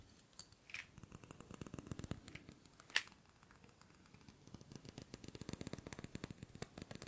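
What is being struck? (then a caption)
Small glass jar with glass lid. Fingers handle and tap a small clear glass jar with a glass lid, held in both hands, with shells or small objects and dark contents in its lower part. A quiet, dry run of many sharp, bright taps and clicks comes in uneven clusters, with one louder crisp click near the middle.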